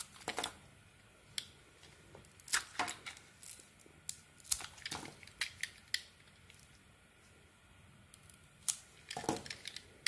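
A razor blade shaves the blue painted coating off a solid yellow soap bar held in the hand, peeling it away in long curls. Crisp, bright scraping strokes come in an irregular series of short bursts, with quiet hiss between them.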